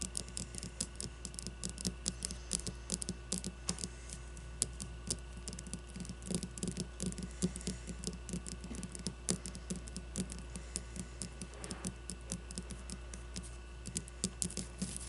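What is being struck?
Leather baseball.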